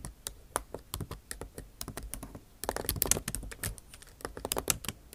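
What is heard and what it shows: Tips of long acrylic nails type on the backlit keyboard of a MacBook Pro, its bare plastic keys set in an aluminum body. The result is a quick, uneven run of sharp, bright clicking taps that each die away almost instantly, growing denser and louder in the second half.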